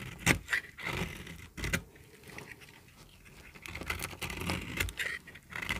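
A small, solid, peach-colored bar of very dry soap is held in the hand and shaved with a metal utility-knife blade. Crisp, bright scraping strokes crackle as dry flakes break off, with short snappy clicks and a quieter stretch midway.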